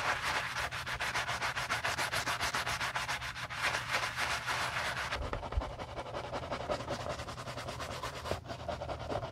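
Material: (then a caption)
Leather. A gloved hand scrubs the upper and inside collar of a white leather Gucci Ace sneaker with soapy foam, using a wooden-handled bristle brush during a restoration. Rapid, steady back-and-forth brushing strokes make a bright, hissy scratching sound, about three to four strokes per second. Around the middle, the scrubbing turns softer and duller as the brush moves, with a few sharper scrapes.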